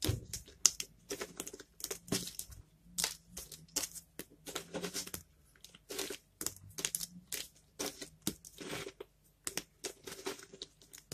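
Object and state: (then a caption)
Dry, brittle bar soap being crushed. Bare fingertips pinch and crumble a pile of brittle, dried bar soap chunks, green and red pieces dusted with white powder, resting on a wooden board. A rapid series of short, dry, bright crunches and crackles follows, each snapping off without ring as the small solid fragments crush apart.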